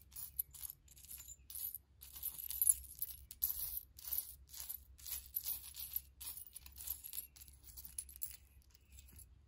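Fingertips rummage through a heap of small, solid, silver-tone metal charms resting on faux fur, lifting and dropping them so they jangle. Quiet, rapid bright clinks and jingles come in clustered bursts over a steady low hum. Each clink is short and dies away almost instantly.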